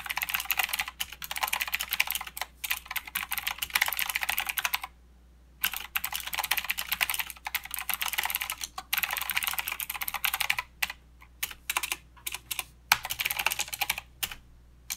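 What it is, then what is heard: Plastic mechanical keyboard. Both hands type steadily with the fingertips on a mechanical keyboard with plastic keycaps and blue switches. It gives dense runs of sharp, bright clicks, broken by a brief pause near the middle and by short gaps toward the end.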